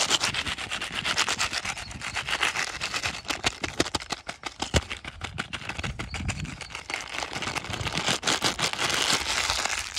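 A small printed plastic-foil sachet with green ends is held in the fingertips and rapidly crumpled and rubbed close up. The sound is a dense, bright crinkling and crackling that runs steadily throughout, with sharp snaps mixed into the continuous rustle.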